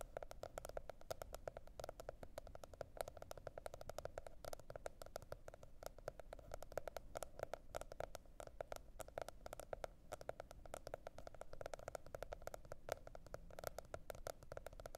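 Long red nails tap rapidly and continuously on a teal spiral-bound cardboard hardcover notebook lying on fur. The quiet, dense stream of short, dry clicks carries a hollow tone around 630 Hz over a soft low rumble, and each tap dies away almost instantly.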